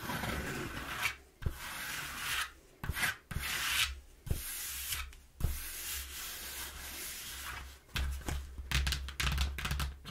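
A hand rubs across the panel of a flattened brown corrugated cardboard box while long nails scratch it. Bursts of dry, bright scraping and rasping come and go with short pauses, broken by a few sharp clicks, over a steady low hum.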